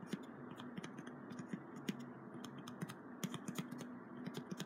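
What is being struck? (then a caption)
Small piece of corrugated cardboard tapped and scratched by fingertips. Fingertips tap and scratch the surface of a small, flat piece of brown corrugated cardboard with printed text, held in one hand. Quick, dry taps with a low, hollow thud and bright clicky edges stand out over a steady, soft scratching hiss. Each tap dies away almost instantly, and the whole clip stays quiet.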